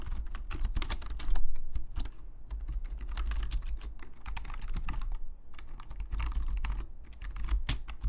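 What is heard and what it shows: A black full-size plastic Logitech membrane keyboard lies flat on a desk and is typed on with the fingertips of both hands. Its hollow plastic keys give a steady stream of quick, short clicks and taps over a low thudding base, with some bursts louder than others.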